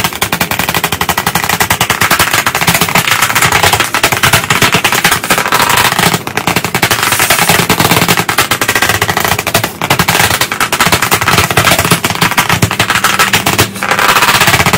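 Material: Slate board, wood.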